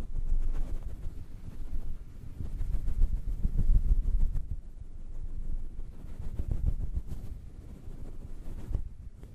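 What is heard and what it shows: Fingertips squeeze and rub a grey-and-black synthetic fur windscreen covering a microphone. This produces a muffled, irregular brushing rumble that stays almost entirely in the deep lows, swelling and easing as the soft fur is massaged.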